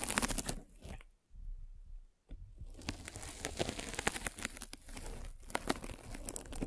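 A derma roller with metal spikes, held by long nails, is rolled across a white polyethylene foam mesh sleeve fitted over a microphone. It makes dense, crunchy scratching and crackling with bright, crisp snaps. There is a near-silent pause early on, then steady rolling texture to the end.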